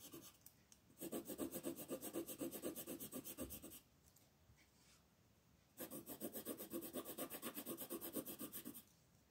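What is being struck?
Wooden colored pencil on a paper sheet.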